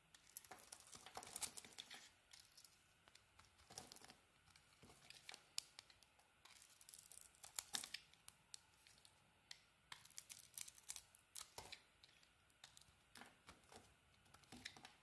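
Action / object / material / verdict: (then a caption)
scrape / soap bar cut with a metal blade / soap / none. A solid peach bar of soap with a purple coating is carved with a metal utility blade, flakes piling up. Quiet, dense, bright scraping and crisp crackling cuts come in irregular bursts, with almost no low end and no ringing.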